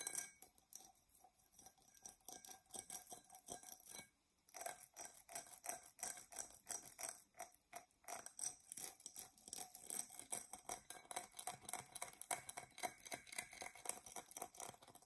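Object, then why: Glass drinking tumbler. A medium, hollow, empty dark brown-purple Coke-style glass tumbler is held in both hands and scratched along its side with long painted fingernails. The result is a dense, fast run of bright, scratchy ticks and clinks with a faint glassy ring around 700 Hz. There is a brief silent pause near the four-second mark, after which the scratching resumes and grows busier.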